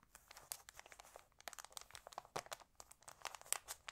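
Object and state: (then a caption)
Glossy paper magazine pages. Fingertips and long nails smooth, rub and turn the thin glossy pages of an open paper magazine. A quiet, steady stream of crisp, bright crinkles, rustles and small snaps is heard, with almost no low end. Each short burst cuts off instantly.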